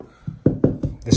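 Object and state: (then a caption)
Hollow (blown) plaster wall. Five taps on the blown, hollow plaster of a damp hallway wall, where the wallpaper had come away, give dull, low, hollow thuds with almost no bright content and a very short ring. The damp is blamed on a large tree beside the house, and the loose plaster is to be knocked off.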